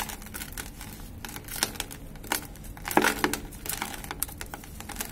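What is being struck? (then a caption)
Cement powder and lumps. A hand crumbles a large clump of grey dry cement in a plastic bucket, letting the powder pour down, then both hands dig and rub through the gritty powder. Dense, dry crinkling and crumbling fills the clip, with sharp, bright gritty bursts breaking out near the middle.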